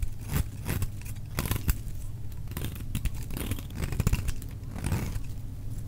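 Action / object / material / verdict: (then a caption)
scrape / bar of soap shaved with a knife blade / soap / none. A solid, dry orange bar of soap is held in the hand and shaved into curls with a metal utility knife blade. The strokes are heard as a run of short, dry scraping and crinkling cuts with quick bright edges over a low, steady rumble.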